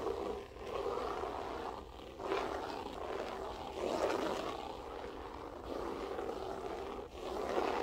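Long acrylic nails scratch and pick at the textured loops of a flat beige loop-pile floor carpet. This produces a steady, dense scratching rustle centred in the low mids, swelling and easing in waves with brief dips between passes.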